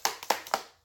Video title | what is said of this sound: PACKING ON BLAST episode 1. From barbarian_kungfu | That definitely doesn't pass the shake test.